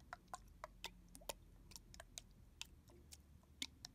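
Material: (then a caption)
Plastic. Fingers tap on the back of a red translucent plastic body mist bottle with a barcode sticker, held sideways and filled with liquid. Thirteen quiet, sharp, bright ticks come at an uneven pace, each dying away almost at once over a soft low hum.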